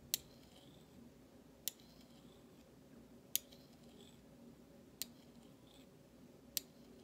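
The bowl of a large, thin, solid stainless steel spoon is tapped and scraped with the flat metal handle of a utensil held in the fingertips. Five sharp, bright metallic ticks come at a slow, fairly even pace, each dying away almost at once, with faint scraping between them over a low, quiet background.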